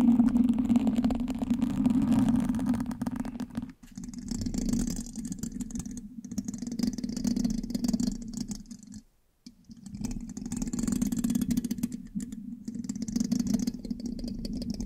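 A thin metal pin held in the fingertips scratches and taps the hollow black metal mesh grille of a large USB microphone. The result is a dense, rapid scratching clatter with a steady low hum-like body and faint bright hiss. The sound drops out briefly just before 4 seconds and again around 9 seconds.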